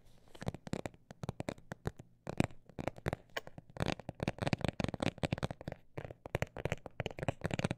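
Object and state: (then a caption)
Textured cosmetic bag tapped. A textured cosmetic bag is tapped in quick, uneven bursts, giving dozens of short, dry, crinkly clicks that stop almost instantly. The taps vary in strength and pace, with brief pauses in between over a faint steady low hum.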